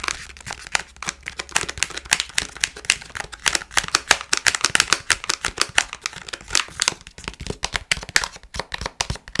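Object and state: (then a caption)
Plastic snack bag. Fingernails tap, scratch and crinkle a palm-sized, partly full Milkybar sweets pouch made of foil-lined plastic. Rapid, dry, bright crackles and clicks overlap in a dense run with almost no low end and no ring after each touch.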